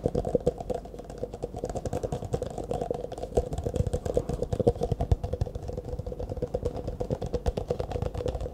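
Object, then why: Thin disposable plastic cup. An empty, hollow, disposable clear plastic cup held in both hands is tapped rapidly with fingertips and nails. The result is a dense, continuous patter of short, dry clicks with a hollow tone centered near 480 Hz and a thumpy low end, with no ring between taps.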